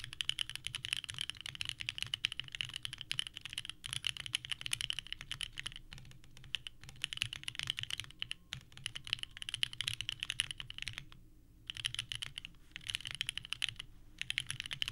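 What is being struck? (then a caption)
Mechanical keyboard with plastic ABS keycaps. A small 65% mechanical keyboard with a purple case and white ABS keycaps, resting on a desk mat, is typed on continuously with the fingertips of both hands. The result is a dense stream of bright, clacky key presses, with a few brief pauses between bursts.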